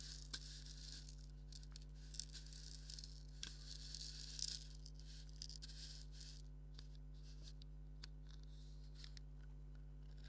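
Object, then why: Stitched leather maraca with wooden handle. A black stitched leather maraca with a wooden handle, hollow and filled, is scratched with fingernails and lightly shaken. Soft, bright scratching and faint rattling come in many small bursts over a steady low hum, with a few sharper clicks.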